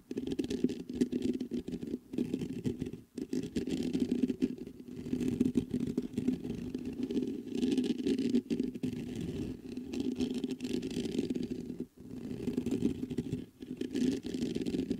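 Fingertips scratch the mesh grille of a black metal USB condenser microphone from both sides. The result is a dense, continuous rasping scrape with a strong low-mid hum centered around 250 Hz, broken by a few brief pauses.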